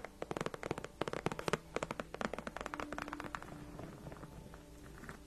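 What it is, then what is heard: Faux leather chair backrest. Long nails on both hands scratch across a large, padded white faux leather gaming chair backrest. A rapid run of short, dry, crackly scratches sounds quietly, then eases into softer, continuous rubbing near the end.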